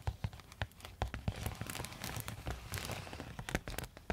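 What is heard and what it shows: Long metal nail tips scratch and tap a silver quilted foil insulated zip pouch held near the face. Quick crinkly scratches and rustles mix with many sharp, dry taps that die away almost instantly. Each tap carries a soft low thump beneath a bright, papery crackle.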